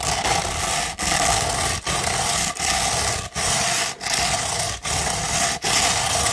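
A sheet of coarse No. 150 sandpaper, held rolled into a thin, hollow tube, is scratched with long pointed red nails. Eight long, steady gritty strokes are heard, each separated by a brief pause, with a bright, rasping hiss and a slight hollow resonance from the roll.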